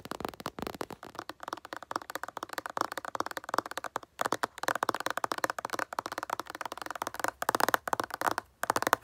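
A moisturizer bottle is tapped as an ASMR trigger, producing rapid, quiet runs of dry, clicky taps with brief pauses between bursts. The taps are bright in the midrange around 1 kHz, with almost no low end, and each dies away instantly with no ring.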